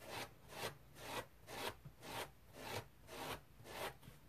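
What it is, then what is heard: Dry foam sponge being scratched. Fingernails scratch a dry teal foam bath sponge with fine pores and a rope loop, making eight steady, rhythmic strokes. Each stroke is a soft, broadband rasping scrape with a bright hiss. The sound fades quickly between strokes.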